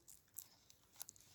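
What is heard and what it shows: Brittle, dry new leaves of a strawberry plant are rubbed by hand, giving off a quiet, bright crunchy crackle in several short bursts. The leaves sound as if they would break when touched, a dry condition attributed to calcium deficiency.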